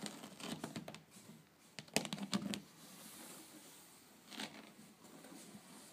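Long painted fingernails tap and scratch across a flat, solid wicker tabletop woven from rattan in a herringbone pattern. Quick, dry clicks mix with crinkly, bright scratching, loudest in a cluster of sharp taps around the two-second mark. Softer, steady scraping follows, with another brief burst of scratches later on.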